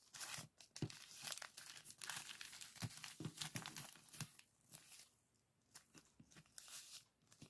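Fingers crinkle and fold over a small clear plastic zip-lock bag full of purple sand granules resting on a table. Irregular, bright crinkling and crunching bursts come with soft low thumps, easing into quieter, sparser rustles toward the end.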